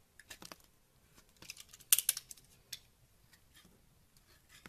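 A yellow box cutter carves curls from a solid pink bar of soap held in the hand. Quiet, bright, crisp scraping and short crackling cuts come in uneven bursts, the sharpest and loudest around the two-second mark, with almost no low end and no ring after each cut.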